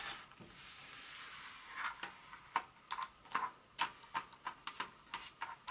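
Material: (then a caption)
Chocolate. Long nails scratch and tap the segmented surface of an unwrapped solid dark chocolate bar lying on its foil and paper wrapper on a carpet. A soft, bright scratching hiss gives way to about 14 short, crisp taps with a hard click near 900 Hz and almost no low end. Each tap dies away almost instantly.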